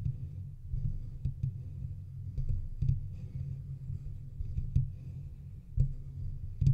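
Fingertips and nails from both hands scratch and tap the sides of a hollow, silver metal microphone body. The result is a continuous low, rough rumbling scrape broken by sharp, short clicks and taps that die away almost at once.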